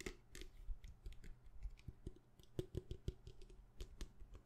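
A small hollow plastic hand sanitizer bottle with a white cap and a printed label is held in the hand and tapped quickly with long painted nails. The result is a rapid, uneven run of short, dry plastic clicks with dull low thumps underneath, each dying away almost instantly.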